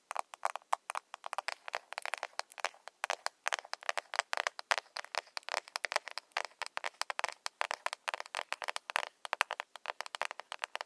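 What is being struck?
Small plastic cosmetic compact.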